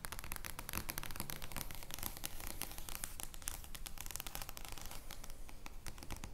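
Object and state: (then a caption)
Large paper playing card. Long painted nails scratch and tap across an oversized joker playing card made of thin card stock, lying flat on a wooden table. The result is a steady, dense stream of dry, crackly scratches and quick, bright papery clicks over a low, soft rumble, with each tap dying away almost instantly.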